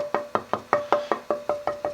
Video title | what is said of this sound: Luthier Wood Review: Cherry for Guitar Bodies Necks Tops Tonewood | as you get more through the straight grain piece, it's very nice sounding wood